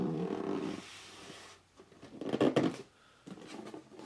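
Short nails scratch and fingertips rub the front edge and top of a hollow red cardboard box lying flat. A low, droning rub opens the clip and fades into quiet scraping, then a louder burst of gripping, scratching friction peaks before settling into softer rubbing.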